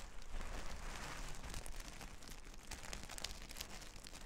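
Long red nails scratch and brush across a large flat sheet of reversible plastic sequin fabric lying on a table. The result is a steady, dense scratchy rustle with bright, crisp clicks from the sequins over a low, soft rumble.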